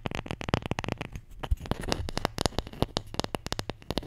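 A wooden Scrabble letter tile, the J, is tapped and scratched in a quick, irregular run of dry, sharp clicks with almost no ring. Around the middle, the taps thin into a soft, gritty scratching before rapid tapping resumes.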